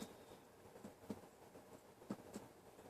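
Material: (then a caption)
Body tissue. A few soft, short taps are heard as the abdomen is percussed upward along the mid-clavicular line until the note turns dull over the liver, locating the liver border. The thuds are muted and low, with very little ring. This is a normal finding, with a normal liver span of 4 to 7 cm.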